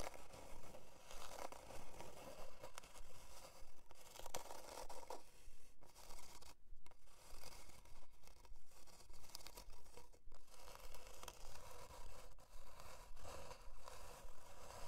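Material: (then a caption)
Plywood. Long dark nails scratch back and forth across a thin, flat, solid plywood heart-shaped board resting on faux fur. The result is a fairly steady run of about 25 dry, raspy scraping strokes with a slight midrange whistle, each fading almost instantly.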